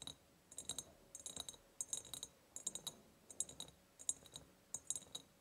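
Long painted nails tap the sides of an empty, ribbed, clear glass jar in about eight quick bursts of rapid taps. The taps are bright, high clicks with a faint glassy ring that dies away almost instantly, separated by quiet pauses.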